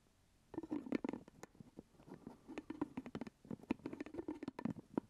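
Fingertips and nails tap and scratch the purple plastic lid of a full glass jelly jar held close to the mic. After a brief silence, a quick, uneven run of soft, dull taps with a hollow low-mid knock follows, mixed with faint scratchy clicks. Each tap dies away almost instantly.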